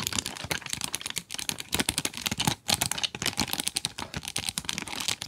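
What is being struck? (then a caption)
Cardboard pencil box with plastic window. Long nails tap rapidly on the plastic window and cardboard sides of a cardboard pencil box. The result is a dense, continuous run of crisp, bright clicks with almost no ring, and faint crinkling between the taps.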